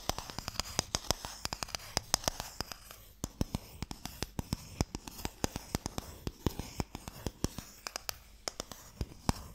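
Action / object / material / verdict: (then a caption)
tap / small wooden box / wood / none. Fingernails scratch and tap on the lid of a small, closed, pale wooden Mikado box, a hollow box that holds sticks, held close up. Dozens of sharp, dry clicks and taps ring out over a soft, continuous scratching hiss. Each tap dies away instantly.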